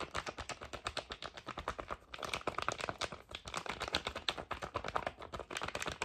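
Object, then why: Foil cosmetic sachet. A flat, thin, flexible red foil/plastic cosmetic sheet-mask sachet is tapped rapidly with the fingernails in a typing-like rhythm. The result is a steady stream of short, crisp, bright clicks with a slight crinkly edge and almost no low end, with a brief dip in the tapping around two seconds.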